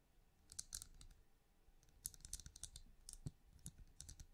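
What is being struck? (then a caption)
Small hollow ridged plastic lamp. Long fingernails tap and click on the ridges of a small, hollow, translucent plastic-like glowing night lamp, held first in a palm and then in the fingers. Quick, dry, bright clicks come in loose clusters over a soft low thump and a quiet background, each tap dying away almost at once.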